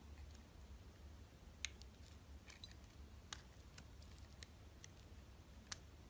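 A metal utility blade cuts away the edges of an orange translucent bar of soap. Quiet, sharp, bright crisp clicks and scraping snaps are scattered over a steady low hum, with a few louder cuts standing out.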